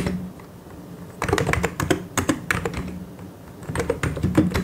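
Both hands type continuously with fingertips on a full-size mechanical keyboard with white and grey plastic keycaps and hollow key switches, pressing and tapping the keys. Two dense bursts of hollow, low-pitched plastic clacks with short, dry decays are separated by quieter stretches, over a faint steady low hum.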